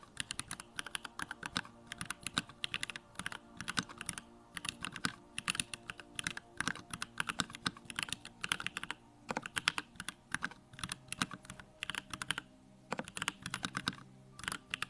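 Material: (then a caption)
Plastic. Fingertips type rapidly on a small 65% Bakeneko65 mechanical keyboard with a plastic case, white plastic keycaps, Durock Lavender switches and its backlight on. The result is a steady, fast stream of short, bright clacks that stop almost instantly, with little low-end thump.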